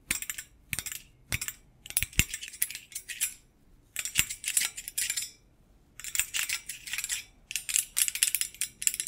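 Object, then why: Stainless steel wire basket. A stainless steel wire rack or basket made of thin rods is held close to a microphone and tapped and scratched by fingers wearing metal thimbles. Bright, dry metallic clicks and rattling scrapes come in clustered bursts, with short pauses between them. The sharp sound is almost all high-pitched, and each tap dies away almost at once.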